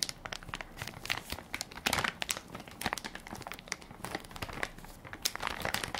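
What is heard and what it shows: Fingertips and nails press and crinkle the crinkly plastic film of a hand-sized Equate baby wipes soft pack, full of wipes and held in one palm. Dense, rapid, bright crackles and crinkles come in irregular bursts, each snap dying away almost instantly, with little low-end body.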